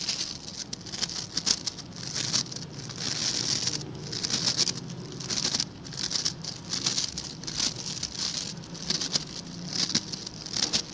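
Fingertips and nails scratch and flick across the stiff white-and-blue plastic bristles of a hand-sized blue scrub brush held in the other hand. The result is a dense, bright, crackly patter that comes in rapid bursts, swelling and easing over the clip with little low end.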